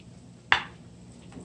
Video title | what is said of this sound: Perfect Garlic Fried Chicken Step By Step | You insert the fork and it goes right through, knocking on the plate. You can hear it's knocking on the plate.